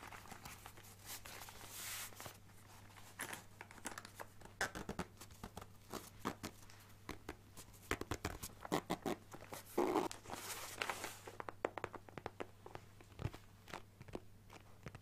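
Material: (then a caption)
Fabric, plastic. A hand-sized, green leaf-patterned hard-shell zip carrying case for a Switch, fabric over a molded shell and likely empty, is held in both hands and tapped and scratched with fingertips and nails. Dozens of quick, dry taps and crinkly scratching strokes follow one another, with brief bright bursts of rasping scratches, over a steady low hum.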